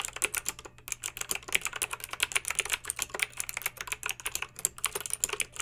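Long pink acrylic nails type quickly on a backlit plastic mechanical keyboard with round plastic keycaps. The result is a steady stream of bright, sharp clicks and clacks that stop almost instantly, over a faint low hum.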